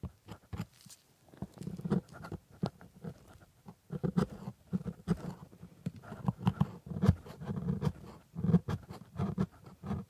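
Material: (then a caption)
Plastic. A metal scaler held in a blue-gloved hand scrapes and taps at the white plastic teeth of a plastic typodont lower jaw coated in white paste. The result is a quiet series of short, dull scratching and clicking bursts, heavy in the low end with almost no bright content and no ring, arriving in uneven clusters throughout.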